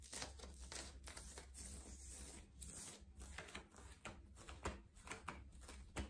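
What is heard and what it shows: Fingertips and nails scratch, rub and pinch a worn yellow ribbed knit cotton long-sleeve top at the chest and shoulders. The result is a quiet, steady stream of dry, bright scratching and rustling with irregular sharper swipes, over a faint low hum.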